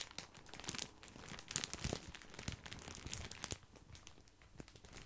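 Fingertips crinkle and scratch a large, full, white printed plastic bag of grissini breadsticks. A steady stream of bright, crisp crackles and rustles comes with sharp little snaps, loudest in the first two seconds and around the middle, then softer toward the end.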